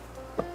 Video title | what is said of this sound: Yaris Cross Hybrid Full Peredam. | Sekarang, terdengar suara pintu menutup. Kedengarannya bagus. Ini adalah suara yang lembut dan mantap.